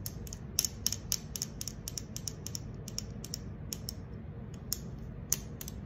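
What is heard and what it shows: Long acrylic nails scratch and tap the silver concave bottom of a green aluminum soda can. A quick series of sharp, bright metallic clicks and short scrapes rides over a steady low rumble, each tap dying away almost instantly.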